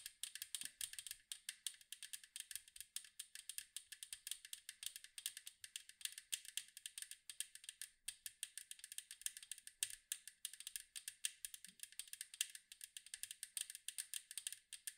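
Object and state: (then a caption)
Metal cookie tin. Long nails tap fast on the striped side wall of a large, round, hollow metal cookie tin, making a quiet, continuous rattle. The sharp, bright clicks die away almost at once and run in quick bursts, with a brief gap near the middle.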